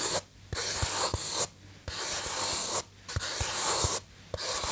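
Fingertips and nails rub and scratch a small white polystyrene foam box held beside the mic. Bright, hissy scraping comes in repeated bursts separated by brief near-silent pauses. Soft low taps and squeaky accents are scattered through the scraping.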